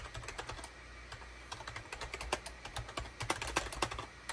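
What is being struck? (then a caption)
Plastic computer keyboard. Fingertips of both hands type rapidly on a full-size gray, cream and orange SHIPADOO K600 wired USB plastic keyboard with a hollow plastic housing, resting on a desk mat. The result is a quick, uneven stream of short, bright plastic clacks over a soft low hum.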